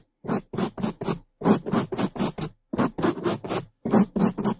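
Bamboo toothbrushes held in gloved hands scrub the top and left side of a black foam microphone windscreen. About sixteen fast, dense bristle-scratching strokes come in short rhythmic bursts separated by brief silences. The close, muffled rasp centers around 200 Hz.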